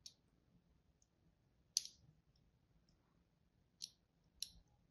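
A thin metal tool, held by a hand with long pink nails, scratches and carves thin grooves into a solid, palm-sized white Duru soap bar held in one hand. A few short, crisp, high clicking scrapes sound at uneven intervals, each one dry and quickly gone. Between them there is only faint low background noise.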